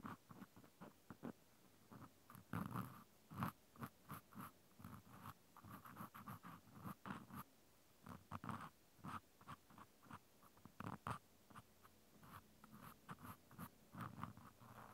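A white plastic clothespin with a metal spring is held in one hand while a cotton swab scratches inside its hole, making a series of short, soft scratching and rubbing bursts. The scrapes are quiet and low-weighted, with brief pauses between strokes.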